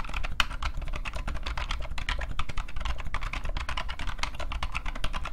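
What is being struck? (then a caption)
Plastic rubber dome computer keyboard. Both hands type continuously with their fingertips on a new old stock IBM PCjr off-white plastic keyboard with a hollow case and rubber dome keys. Rapid, steady streams of short, bright plastic clacks die away almost instantly over a low, constant rumble.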